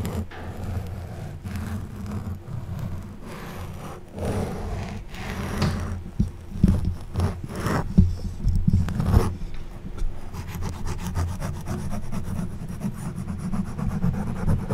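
An orange plastic back scratcher's tines vigorously scratch and rub a black foam windscreen covering a silver Blue Yeti microphone in fast strokes. The result is a dense, muffled scraping and rustling dominated by deep, boomy low frequencies, with louder, sharper scratches bursting through in the middle of the clip.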